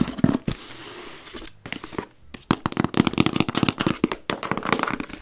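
A small, closed, hollow brown corrugated cardboard box sealed with tape is tapped and knocked on its sides with long red-painted nails and fingertips, then lifted. Sharp clicky nail taps mix with hollow, low papery knocks, a brief stretch of steady scratchy rustle, and a fast, dense run of tapping.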